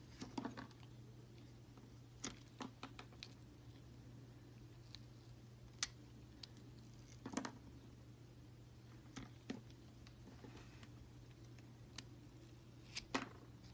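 A utility knife blade peels long strips off the side of a solid red and green Palmolive soap bar. Quiet, brief, bright scraping ticks come at irregular intervals over a steady low hum, each dying away almost instantly.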